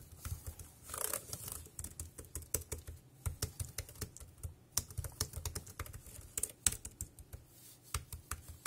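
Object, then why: Plastic computer keyboard. Fingertips type on the round keys of a dark grey, compact, plastic wireless keyboard, producing a steady run of short, bright clicks and taps. Each tap dies away almost instantly over a low, soft background rumble.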